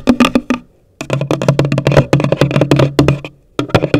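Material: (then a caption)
Cardboard. Long nails tap the top of a hollow, pale green cardboard gift box in three quick bursts separated by short silences. The sharp, dry clicks carry a boxy resonance low in pitch and die away fast.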